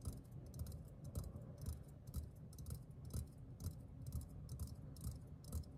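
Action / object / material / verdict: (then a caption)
tap / metal aerosol can / metal / none. Fingertips and nails tap the side of a hollow green metal aerosol deodorant can. Repeated soft, low, hollow thuds come at a loose pace of about two per second, each topped by a bright, clicky tick from the nails. Each tap dies away almost at once.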